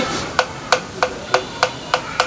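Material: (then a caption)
Bamboo. A black bamboo resonator tube of an angklung is knocked seven times during tuning, so its knocked tone can be matched to its air resonance. Each knock is a short, dry, hollow tock with a clear pitch around 500 Hz that dies away almost at once.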